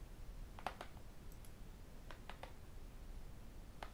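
A tablet with an aluminium back and a glass screen has its screen and edges tapped with fingertips and metal rings. Quiet, sharp, bright clicks come in small irregular clusters, each dying away almost at once over a soft low background hum.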